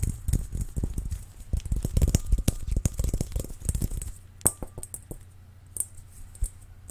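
A large, hollow, transparent, dimpled plastic ball is held in one hand and tapped with the fingertips of the other. Rapid, irregular, dull knocks come thickly for about four seconds, then thin out to a few sharper, isolated taps over a quiet background with a faint high hiss. Each tap is short and deep-toned, dying away almost instantly.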